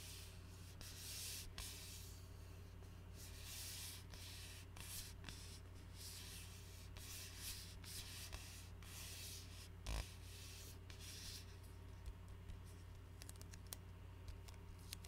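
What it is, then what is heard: Glass bottle with plastic label, tapped and scratched. Fingertips and nails tap and scratch the plastic label of an Arizona iced tea bottle, a glass bottle of about 20 oz holding dark tea, held upright in both hands. Soft, continuous bright scratching and rubbing rides over a steady low hum, broken by small light taps and one slightly louder knock near the 10-second mark.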